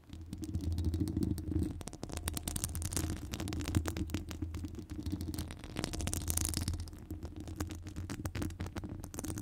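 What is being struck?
Metal wire-mesh microphone grille.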